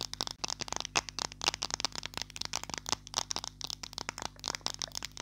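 Long nails tap and scratch quickly along the body of a small, solid green plastic glue stick. The result is a dense run of sharp, bright clicks and short scrapes with almost no ring, over a faint steady low hum.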